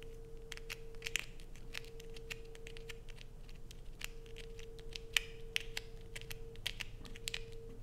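A solid blue bar of soap held in the hands is scratched and dug into with long acrylic nails, shedding flakes. Quick, bright scratching clicks and crinkly scrapes come in an irregular patter, a few sharper than the rest, over a steady faint hum near 480 Hz.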